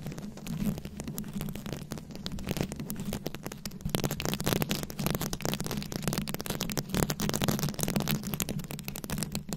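Very long acrylic nails scratch and tap a fist-sized microphone head fully covered in small round rhinestones, likely plastic, held close. The result is a dense, continuous stream of crackly, bright scratching clicks over a steady low rumble, growing slightly louder in the second half.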